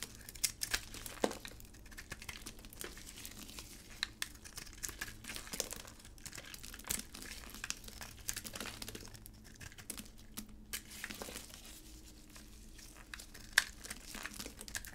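A utility blade scrapes and cuts flakes off a solid pink hard dry bar soap with an orange-red outer layer, held in a gloved hand. Dense, crisp crinkling and scraping is broken by sharp bright snaps as flakes break away, over a faint steady low hum. The flakes come off in a quick, uneven stream of dry crackles.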